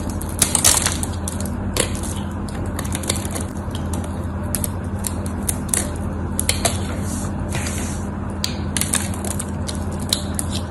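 A dried, solid cream bar of soap held in the hand is carved with a metal knife blade, chipping off crunchy flakes. Dense crackling and crunching scrapes run throughout, with sharp bright clicks over a steady low hum near 200 Hz.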